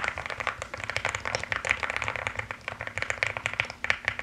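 Both hands type quickly with fingertips and nails on a mechanical keyboard with pastel plastic keycaps. The result is a dense, steady stream of short, bright plastic clicks and clacks with almost no low end and very little ring after each keystroke.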